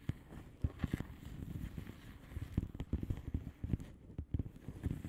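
Long fingernails of both hands tap on a flat blue plastic bubble wrap padded envelope with air-filled bubbles. The result is a quick, irregular run of soft, dull, low taps with crisp clicky onsets that die away almost instantly over a faint low rumble.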